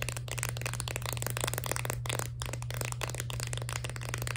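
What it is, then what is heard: Full plastic blister candy pack. A full plastic blister pack of crayon-shaped candies on a cardboard card is tapped and scratched quickly with long nails. This gives a dense run of crisp plastic clicks and scrapes with bright edges, over a steady low hum.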